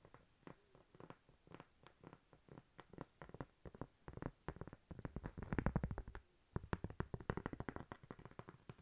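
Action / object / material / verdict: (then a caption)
tap / thin flat cork coaster / cork / none. A thin, flat, solid cork coaster shaped like a slice of toast is held close and tapped and scratched with long nails. Dozens of quick, soft, dull taps follow one another with almost no ring, mostly low in tone. A denser stretch of rapid tapping and scratching rises in the middle before the taps resume.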